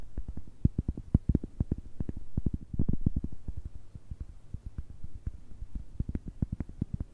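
A round, thick, solid cork coaster is held close to the microphones and tapped and scratched on its face and edge with long nails. Dozens of quick, dull, low thumps come in an uneven stream, with faint scratching between them. Each tap is soft and muffled and dies almost instantly with no ring.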